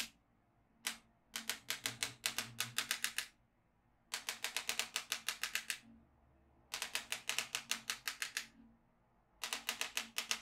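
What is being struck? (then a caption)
Plastic magnetic drawing pad with steel beads. A yellow magnetic pen is drawn along the lower edge of a black plastic magnetic drawing tablet filled with steel beads, flipping the beads as it goes. Four bursts of rapid, bright clicking are separated by short silences, each click short and sharp with almost no ring.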